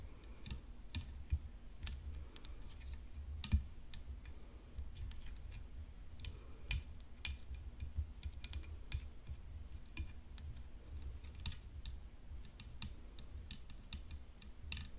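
Long nails tap the hollow composite frame of a rhinestone-decorated tennis racket resting on black cloth. Many quiet, sharp clicks and bright ticks come at an uneven pace, each dying away almost instantly. A steady low hum runs underneath throughout.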